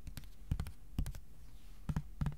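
Fingertips tap quickly on a flat white cardboard sheet, first resting on a lap and then held tilted. About ten short, dull, low thuds come in quick clusters with almost no ring.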